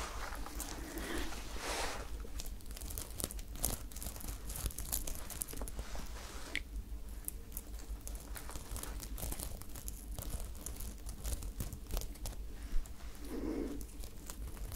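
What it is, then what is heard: Sequin fabric top being scratched. Long nails scratch a sparkly top covered in silver sequins, held bunched up in one hand. Continuous soft crinkling and scratching rustle with a low hum underneath, with occasional brighter scrapes.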